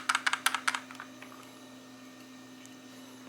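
A 1080p Novatek car DVR rear-view mirror with a plastic housing is shaken, and a loose internal part rattles with about eight quick, bright clicks in the first second that fade into quieter taps. A faint steady hum continues underneath, and the rattle is the fault with the unit.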